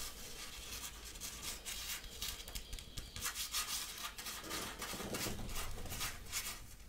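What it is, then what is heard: Cotton sweatshirt being scratched. Fingernails scratch and rub across the chest print of a worn grey printed cotton-like sweatshirt, close to the microphone. Irregular, fast bursts of bright, hissy scraping ride over a steady low rumble, swelling louder toward the end.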